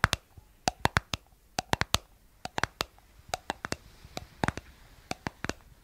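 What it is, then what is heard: Plastic cosmetic jar tapped with nails. Long nails tap the white plastic lid and rim of a round, hollow, palm-sized cosmetic jar with a blue body. About two dozen sharp, dry clicks ring out in an irregular rhythm, each bright and dying away almost instantly. Faint scratchy handling fills the gaps between taps.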